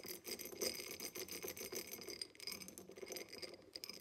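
Long acrylic nails tap and scratch the sides of a tall, empty, diamond-pattern cut glass tumbler standing upside down on a table. Quick, dense clicks and ticks overlap with a rasping scrape, carrying a bright, high glassy ring that dies away almost instantly.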